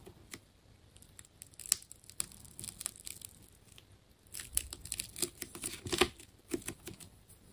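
A metal scalpel slices into and peels layers off a hand-held, fist-sized solid ball wound from many layers of colored plastic tape with a red outer layer. Quiet, bright scraping and tearing crackles come in irregular bursts, with sharper snaps as strips pull away.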